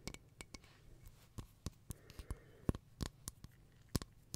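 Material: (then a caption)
Glass. Long nails tap and scratch the silver crackle mosaic surface of a round, hollow glass tea-light holder with a lit candle inside, held in both hands. Quiet, irregular dry clicks and ticks with very short decay land over a faint low hum, with soft scratching between the taps.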